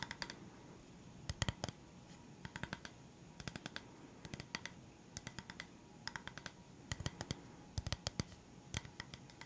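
A round, solid bamboo coaster, a flat board painted with a leaf design, is held upright and tapped and scratched with fingertips and nails. Quick bursts of sharp, dry clicking taps with bright tops come in uneven clusters over a soft, steady scratching hiss. Each tap dies away almost instantly.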